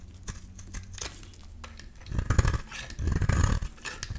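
A metal utility-knife blade scrapes along the face of a solid rectangular beige bar of soap. Soft, scratchy scraping strokes with crumbly crinkling build to louder, denser rasping in the second half.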